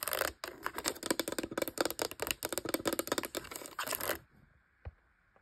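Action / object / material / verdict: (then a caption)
tap / plastic label maker casing and keys / plastic / none. Long light-blue nails tap and scratch the top of the black plastic casing and rubber keyboard of a hollow Brother P-touch label maker lying on a bedspread. A dense run of quick, bright clicky taps and scratches lasts about four seconds, then goes quiet before one last isolated tap.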